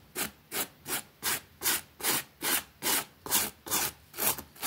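A small, flat, damp green fabric rug with a rabbit print, lying on a concrete floor, is scrubbed quickly with a pink plastic bristle brush. Eleven separate bright, scratchy strokes sound in a steady back-and-forth rhythm, about two and a half per second, each a short hissy burst with almost no low end and brief quiet gaps between.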